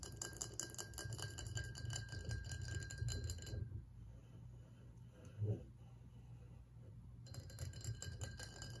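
A partly full ribbed glass whiskey bottle standing on a table is tapped and scratched with the fingernails of both hands across its glass ribs. Quick, dense clicks and scraping fill the first few seconds, fade into a quieter stretch with one brief louder knock, then pick up again near the end.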